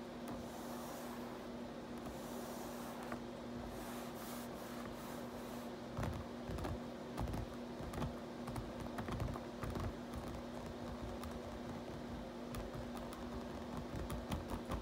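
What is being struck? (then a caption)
Plastic computer keyboard. Fingertips type on the keys of a black plastic RGB backlit computer keyboard, making soft, quick clicks and taps over a steady low hum. The keystrokes grow denser and more pronounced in the second half.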